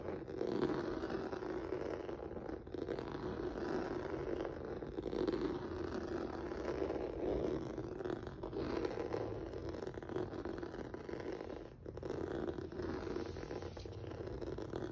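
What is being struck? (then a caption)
Textured rubber mat. Fingertips and nails scratch across a flat black rubber/vinyl mat with a noodle-textured surface. The result is a continuous, dense scratching and rasping texture, centered in the low-mid range with little bright content. It holds steady throughout, with brief pauses near 2.5, 8.5 and 12 seconds.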